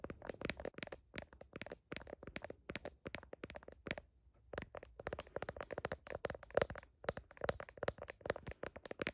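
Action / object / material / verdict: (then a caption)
tap / smartphone in plastic case / plastic / none. Fingertips and nails rapidly tap and scratch the back of a smartphone's blue heart-print plastic case and its camera lenses while the small device is held in one hand. Dry, clicky taps and scratchy crackles come in quick, dense bursts with a brief pause near the middle. Each hit stops almost instantly, with no ring.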